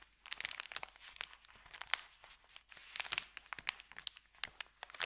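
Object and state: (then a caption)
Paper bag. Fingertips rub a thin, empty, creased white paper sandwich bag, then start rolling its end, crinkling it. Bright, dry crackles and rustles come in quick, uneven bursts with no low rumble and no ringing after each crinkle.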